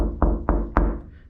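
A fiberglass body panel on a Factory Five 35 Hot Rod Truck, repaired with tiger hair fiber-reinforced body filler that cured in about an hour, is knocked three times. Each knock is a dull, low thud that dies away quickly. The panel sounds solid, like knocking on a rock.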